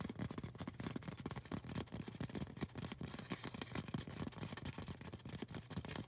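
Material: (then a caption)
Polystyrene foam. A tall, solid white polystyrene foam cone is scratched and tapped with long orange acrylic nails. Rapid, dry taps with low, hollow thumps run together with bright, hissy scratching. Each tap dies away almost instantly, with no ring.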